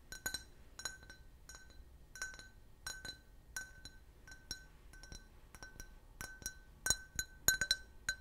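An empty, clear, hollow can-shaped glass beer glass is held and tapped with fingernails and fingertips. About eighteen sharp, irregularly spaced clinks ring at a glassy tone near 1.5 kHz with bright overtones. Each tap dies away almost at once, and the taps grow somewhat louder toward the end.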